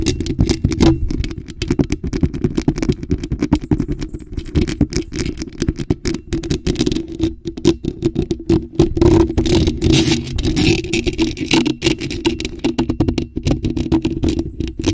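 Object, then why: Metal mesh microphone grille. Long nails scratch fast across a bare, hollow black metal mesh microphone grille held in the hands. The result is a dense, continuous stream of rapid scraping and clicking with a boomy, hollow low-mid tone around 330 Hz and only faint brightness above.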